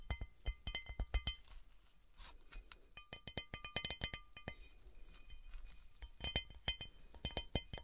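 Fingernails tap and scratch a textured cut glass object. Quick bursts of short, bright, clinking taps with a faint high ring are broken up by softer stretches of light scratching and scraping before the tapping picks up again.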